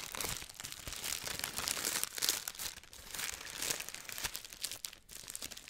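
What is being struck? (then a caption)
Thin tissue paper wrapping. Hands and fingertips crumple and crinkle thin pink tissue paper wrapped around a medium-sized package held up near the microphone. A steady, bright crackle of rustling with quick crisp snaps swells and fades through the clip, with almost no low end.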